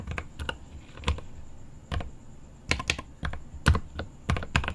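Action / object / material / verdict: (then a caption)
tap / mechanical keyboard with plastic keycaps and aluminium case / plastic / none. Fingertips type on the plastic keycaps of a mechanical keyboard with an aluminum case. The keystrokes come in an uneven run of sharp clacks with a deep, low-heavy thock and a quick decay. A faint, steady high tone sits underneath.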